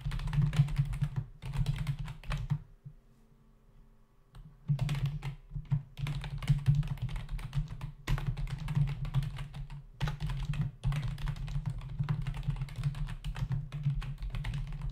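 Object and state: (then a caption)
Plastic computer keyboard being typed on. Fingertips of both hands type fast on a full-size black plastic membrane computer keyboard with hollow keys, resting on a desk. The keys give a rapid, dense clatter of dull tapping with a heavy low-end thump. There is a brief quiet pause around the third and fourth seconds before the typing resumes and continues steadily.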